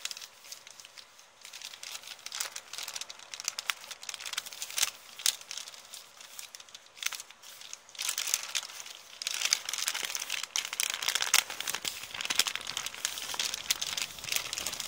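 An empty kraft paper shopping bag with blue print is held and crumpled with the fingers and nails. Dense, bright crinkling and crackling run throughout, and the rustling grows fuller and louder after about eight seconds.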